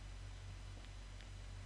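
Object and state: Nothing is struck.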